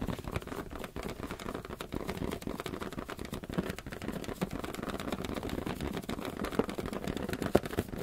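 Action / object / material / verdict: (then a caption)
tap / rubber balloon / rubber / none. Fingers tap rapidly on a rubber balloon, making a dense, steady stream of soft, dull patters. The taps are mostly low and muffled with very little brightness, each dying away almost at once, with a few slightly louder hits near the end.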